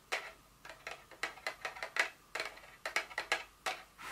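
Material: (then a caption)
Paperboard. Long nails tap an empty, partly unfolded white paperboard Dior fragrance box lying on a table. About fourteen quick, dry, bright taps come at an irregular pace, each dying away almost at once with no low thud.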